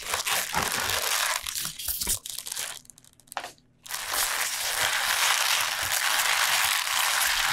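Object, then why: Bunch of lacinato kale leaves. A tied bunch of fresh lacinato kale lies on a board while its crinkly leaves are rubbed and pressed with the fingertips of both hands. The result is a dense, bright crinkling and crunching rustle that briefly falls quiet just past the middle, then resumes as a steady, continuous crackle to the end.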